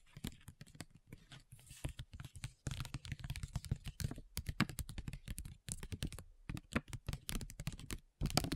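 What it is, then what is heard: Foil sheet-mask pouch tapped with nails. Long nails tap in rapid rolls on a flat printed plastic and foil sheet mask pouch. The taps are crisp, dry and clicky with a soft low body, coming in fast bursts separated by brief pauses, each tap dying away almost instantly.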